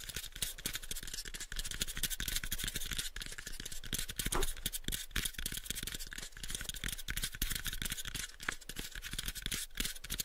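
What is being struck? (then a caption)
Small wooden box. A pale, unfinished, hollow wooden box is held in both hands while fingertips and nails scratch and tap across its surface. The result is a steady, rapid stream of dry, bright clicks and scratchy rasps, each dying away almost instantly, over a faint low hum.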